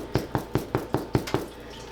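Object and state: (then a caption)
Baked-through bread loaf (hollow). Seven knocks on the bottom of a homemade artisan bread loaf baked with high-protein flour give short, dull, hollow thumps with a low resonance around 120 Hz. The hollow sound shows the loaf is baked through and done.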